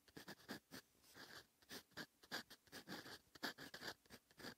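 A steel extra-fine fountain pen nib writes continuously across a lined notebook page lying flat and solid on a surface. It makes quiet, fine scratching strokes that come as many short, separate bursts. The scratches have a bright, papery hiss centered around 1.7 kHz, with little low end.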